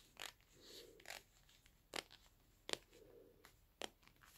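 Black leather gloves worn on both hands, with a metal wristwatch on the wrist, rub and clench against each other. Several sharp, bright creaks and crackles stand out, with softer, lower leather rubbing between them.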